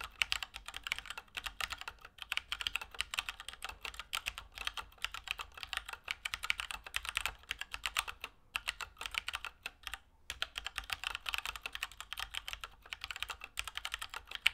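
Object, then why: Mechanical keyboard with plastic keycaps. A compact Keychron K2 mechanical keyboard with Gateron Brown switches and plastic keycaps is typed on continuously with fingertips. It produces a steady stream of short, bright plastic clacks with almost no ring, broken only by brief pauses around 8.5 and 10 seconds.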